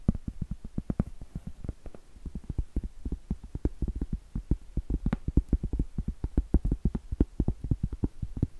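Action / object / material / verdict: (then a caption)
tap / round cork trivet / cork / none. Acrylic nails tap and scratch the face of a round solid cork trivet, then tap its edge. The result is a steady run of dozens of quick, dull, deep taps with almost no ring, and faint scratchy texture between them.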